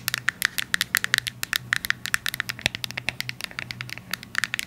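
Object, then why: Small cardboard box tapped with fingernails. A small, hollow, yellow cube-shaped Byoma cardboard box is held in the hands and tapped and scratched with long acrylic nails. About 34 quick, dry clicks ring out over 4.7 seconds, with a bright crackly edge centered near 1.8 kHz. Faint scratchy scraping runs between the taps, and each tap dies away almost instantly.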